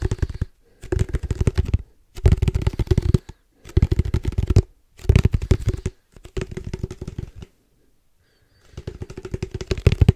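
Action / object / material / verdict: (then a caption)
tap / plastic ball tube / plastic / none. Fingertips and nails tap quickly on a hollow black plastic padel ball tube with red stripes, held close. Seven bursts of rapid, dull, low hollow taps are heard, separated by short pauses, with a longer gap before the last burst.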